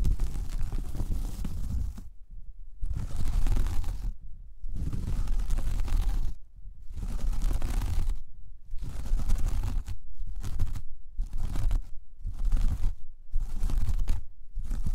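Long painted nails of one hand scratch across a large, flat, solid round braided jute or straw coaster, close up. The sound is a dry, rough scratching and rustling with a deep, low-heavy texture, coming in bursts of about one to two seconds separated by brief silences.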